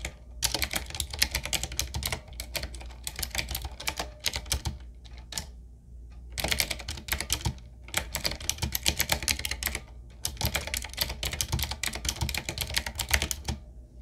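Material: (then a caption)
Plastic. Fingertips of both hands type on a full-size 7Keys retro typewriter-style mechanical keyboard with round black plastic keycaps and a wood-trimmed frame, resting on a wooden desk. Rapid, bright, clicky key taps come in three bursts separated by short pauses, over a steady low hum.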